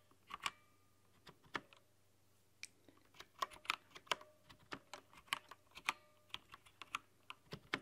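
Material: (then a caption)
Plastic. A full-size LED-backlit mechanical keyboard with white translucent plastic keycaps is typed on with long painted nails and fingertips. Quick, bright plastic clicks and taps come in irregular bursts, each dying away almost instantly over a faint low hum.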